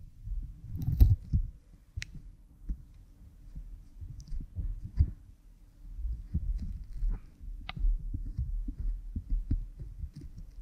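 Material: Silicone.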